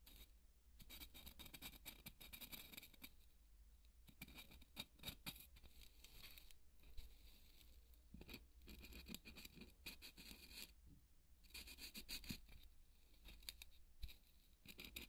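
A felt-tip marker scratches and draws a line across the grainy surface of a large, white, solid polystyrene foam ball held in one hand. Dry, bright, crackly scratching comes in dense bursts separated by brief pauses, over a steady low hum.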